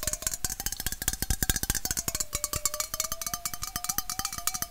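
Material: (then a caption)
Aluminum. A hollow red aluminum Coca-Cola bottle-shaped can, held horizontally, is tapped rapidly with fingernails near its base. The quick, bright clicking taps keep a ringing metallic tone going beneath them, and its pitch drifts slightly up and down.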